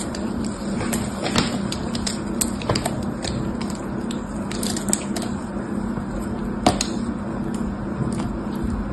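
A small black blade scrapes and cuts into a solid red bar of dried, hardened soap held in the hand, chipping off crunchy flakes. Sharp, bright crackles and snaps rise over a steady low grainy scraping. The hits come irregularly throughout, with a loud, crisp snap near the end.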